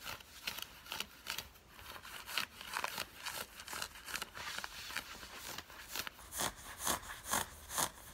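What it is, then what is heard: Cotton fleece sweatpants being scratched. Long fingernails scratch the fabric of worn grey cotton fleece drawstring sweatpants. The result is a series of quick, dry, bright scratching strokes in an uneven rhythm, with a soft hissy rasp between them and almost no low end.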